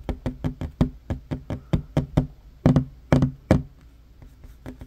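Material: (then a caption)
Wood. Short fingernails tap rapidly near the front edge of a solid wooden tabletop, giving 17 dull, low knocks with almost no ring. The taps come at an uneven pace, with three louder hits clustered late in the run before a few softer taps trail off.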